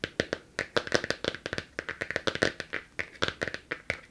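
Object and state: Hardcover book with glossy laminated cover.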